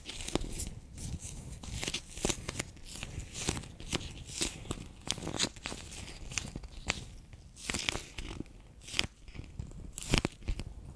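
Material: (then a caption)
PVC plastic. A handheld, bear-shaped clear PVC pouch full of orange water beads is pressed and squeezed with fingertips and long nails. It gives off a steady run of sticky, crinkling crackles and short bright snaps over a soft low rumble, with the squeezes rising and falling in quick bursts.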